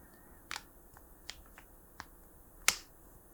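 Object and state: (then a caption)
Hollow plastic markers. Hollow plastic art markers are softly tapped, giving four short, bright, clicky ticks with almost no low end and very little ring. The last tap is the loudest, and the hollow plastic body gives each tap its crisp click.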